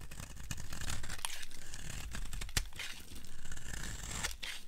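A blade carves along the edge of a solid, dry yellow soap bar, giving a continuous crisp scraping and tearing sound as dry flakes come off. The strokes overlap unevenly over a low, dull undertone, with one sharper click about halfway through.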